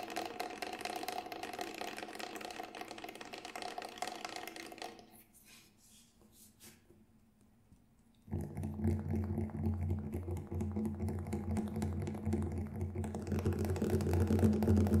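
Fingertips tap the grey textured shell of a large, hollow Remo Buffalo synthetic frame drum held upright, producing fast, light, dry clicks. After a brief near-silent pause, the tapping moves to the black synthetic head, giving louder, steady taps with a deep, booming low resonance.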